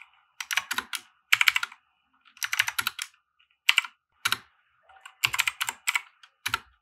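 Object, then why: Mechanical keyboard with plastic keycaps. A compact 60% plastic mechanical keyboard with white plastic keycaps and RGB lighting, resting on a felt desk mat, is typed on with the fingertips. Bursts of quick, bright, clicky keystrokes come in short runs with brief pauses between them. Each keystroke ends almost at once.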